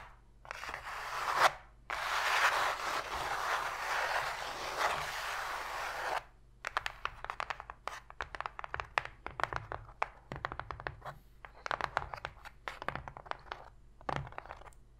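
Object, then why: Cardboard box tray. Long pink fingernails on both hands scratch fast across an empty, open white cardboard box tray, making a dense, bright, hollow rasping that runs for about six seconds. The nails then switch to quick, irregular taps on the cardboard, giving short, dry clicks with almost no ring.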